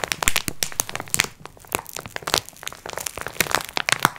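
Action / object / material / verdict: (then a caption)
scrape / plastic-wrapped pack of sponge cloths / thin plastic / none. Long nails scratch across the crinkly plastic wrapping of a multipack of sponge cloths lying flat. The sound is a rapid string of sharp, bright crackles and crinkles in short, irregular bursts, each one dying away almost instantly between brief quieter gaps.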